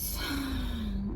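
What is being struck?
Nothing is struck.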